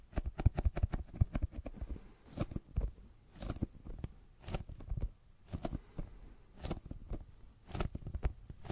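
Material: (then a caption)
Leather. A brown leather zip pouch, held in front of the mic, is tapped with the fingertips. A quick run of dry, dull taps opens the clip, followed by slower, softer bursts of tapping spaced about a second apart. The sound is quiet and low, with each tap dying away almost at once.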